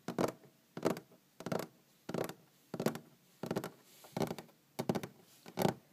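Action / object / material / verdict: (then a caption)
tap / wooden tabletop / wood / none. Long green-painted fingernails tap on a large solid wooden tabletop in nine separate bursts, each a quick flurry of clicky taps with a woody low-mid body and very short decay. The bursts repeat at a fairly even pace, with quiet gaps between them.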